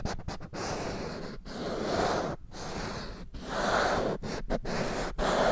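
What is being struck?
Small handheld whiteboard with plastic frame.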